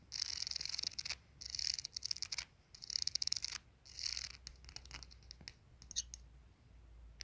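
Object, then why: Glazed ceramic soap dispenser. Fingertips and nails tap and scratch the glazed dark ceramic body and ribbed base of a ceramic soap dispenser with a metal pump. Bursts of bright, hissy scratching alternate with quiet gaps, then give way to sparse, dry, high-pitched taps that stop instantly with no ring.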